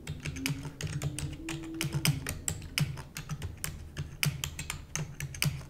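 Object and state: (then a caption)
Plastic computer keyboard. Rapid typing with long nails on a black plastic computer keyboard produces a fast, uneven stream of sharp, bright clicks over a low, thuddy body. Each keystroke dies away almost instantly.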